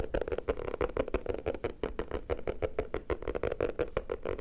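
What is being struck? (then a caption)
Hardcover notebook cover. Fingertips tap rapidly on the cover of a black hardcover notebook with an anime picture on it, held in both hands. The result is a quick, uneven stream of dull, hollow taps centered around 460 Hz, each dying out almost at once, with little high-end brightness.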